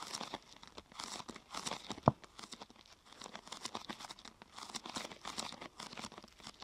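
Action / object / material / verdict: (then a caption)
scrape / thin plastic sheet / plastic / none. Fingers press and scratch the top of a thin, glossy purple plastic sheet curved into a hollow half-tube. The result is a quiet, continuous run of soft crinkling and scratching bursts with a bright hiss. A single sharp click stands out about two seconds in.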